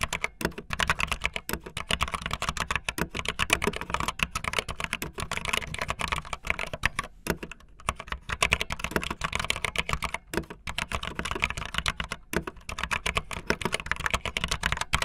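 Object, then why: Plastic mechanical keyboard keys. Fingertips with long nails type fast on a backlit optical linear mechanical keyboard with white and blue plastic keycaps. A steady stream of sharp, bright clacks with a faint low thud underneath, each keystroke short and dry.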